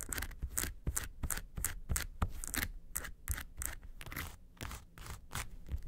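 Long nails scrape across the textured front face of a small, hollow, yellow faux-leather makeup suitcase in quick, uneven strokes. Each stroke gives a bright, rasping scratch over a low, hollow body thump, and short pauses fall between the strokes.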